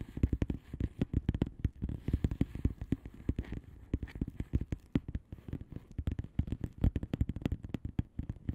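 A flat blue plastic bubble wrap mailer envelope with air-filled bubbles is tapped and scratched with the long manicured nails of both hands. Dense, rapid, dull low taps mix with soft scratching and faint crackles, each tap dying out almost at once.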